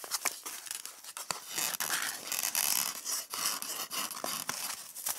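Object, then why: Polystyrene foam egg tray. Long red nails scratch and tap the hollow domed cups of an empty white polystyrene foam egg tray. The sound is a dry, bright, squeaky scraping broken up by many short, sharp clicks, with almost no low end.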